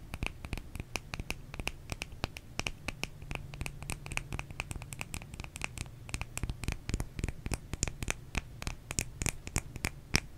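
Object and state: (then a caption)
Bar of soap scratched. A small solid white bar of soap is held in the hands and scratched with long nails, with some tapping. Dozens of sharp, dry clicks and scratches with bright edges come in quick, uneven bursts over a quiet, steady low hum.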